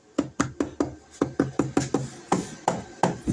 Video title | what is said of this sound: DC Battery powered 8000 btu Air Conditioner, Under Bench 12-24-48v RV, cabin, boat, Home, Shop | that's solid sounds weird though don't it it's an anti sweat high density poly